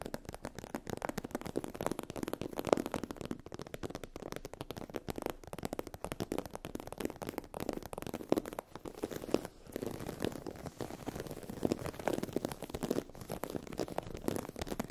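A sheet of iridescent holographic vinyl/PU faux-leather fabric with a raised scale texture is scratched with long acrylic nails. The result is a dense, continuous run of quick crackling, crinkly scratches, mostly in the low-mid range with little high end. The texture stays steady with only brief dips.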